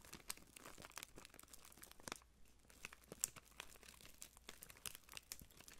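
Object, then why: Thin clear plastic wrapper strip. A long, thin, clear cellophane-like plastic wrapper strip with printed labels, light and hollow, is held up near the microphone and crinkled and twisted between fingertips with blue-painted nails. The result is a dense, bright, crackling crinkle of sharp snaps and rustles, with a brief quiet gap in the middle.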